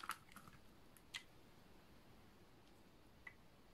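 A utility knife blade is scraped across the face of a solid, dry, light blue oval bar of soap. Four short, crisp, crunchy scrapes with bright edges stand apart from one another, with a cluster near the start and more spread out after it, over a faint low background hum. Each scrape dies away almost instantly.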